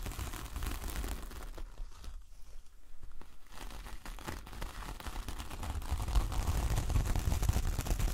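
Long nails of both hands scratch and tap the coarse fibres of a large, flat coconut coir door mat with a star print. The result is a dense, rough crackling and scraping that dips quieter for a moment, then grows louder and heavier, with a deep low rumble underneath toward the end.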